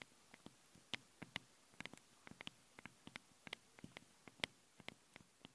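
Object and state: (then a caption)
Metal microphone grilles being tapped. Long blue-painted nails scratch and tap the two small metal mesh capsule grilles of a handheld stereo recorder on both sides at once. About twenty sharp, bright, dry clicks and ticks land at an uneven pace over a faint hiss. Each one stops almost instantly, with no ring.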